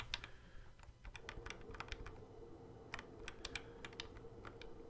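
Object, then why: Plastic toy guitar controller. Fingertips tap the fret buttons and neck of a hollow plastic Guitar Hero guitar controller. The result is a quick run of short, dry, bright clicks resembling keyboard typing, over a low steady hum with a faint tone near 500 Hz.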